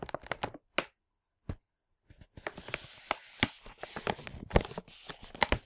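A large printed plastic LEGO packaging bag full of parts, from a Hero Factory 44022 set, is handled and flipped with the fingertips. Short, sharp crinkles and taps come in bursts separated by brief silences, then build into a denser, continuous bright rustle with crackling and tearing sounds.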